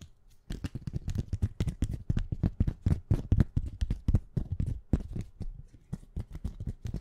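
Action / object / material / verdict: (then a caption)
tap / small plastic plate with paper sticky-note bookmarks / plastic, paper / none. A small flat plastic plate covered with colorful paper sticky-note bookmarks is held in one hand and tapped quickly and scratched with long painted nails. It gives a fast, uneven stream of short, dull, low thuds, about four a second, with brief papery scratching and no ring after each tap.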